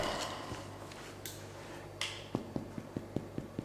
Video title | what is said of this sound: How to make EASY IRISH SODA BREAD 👍 | We give it a little knock on the door, and it's quite hollow inside.